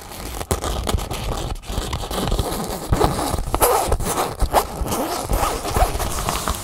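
Long nails scratch and rub along the taut fabric seam at the folded edge of an empty red nylon drawstring bag held upright. The result is a dense, continuous rasping scrape with a zipper-like texture, broken by sharper scratchy bursts and crackles over a low rumbling undertone.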